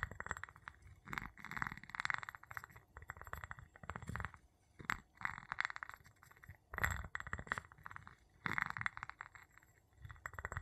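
The tip of a wooden pestle taps and rubs the bottom of an empty clear glass jar with a gold metal lid, held in the palm. Quiet bursts of scratchy rubbing and quick dry taps come and go, with a dull low thump under a brighter glassy rasp. The taps die away almost instantly.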